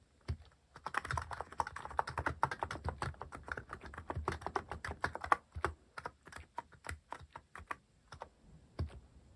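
Fingertips type rapidly on a white-cased mechanical keyboard with rounded plastic cat-themed keycaps, its hollow keys on switches, set on a wooden desk. A fast, steady stream of short, dry clacks, each with a low thock under a clicky midrange snap, thins toward the end into more spaced-out taps.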